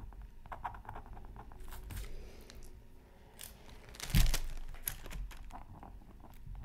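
A pointed wooden stylus scratches across a thin black-coated scratch art card from a Mythical Creatures Super Scratch Art Pad, with the microphone nearby but untouched. Soft, dry scraping and crinkly strokes come in short bursts, peaking in one louder, brighter scrape about two-thirds of the way through before settling back to quieter scratching.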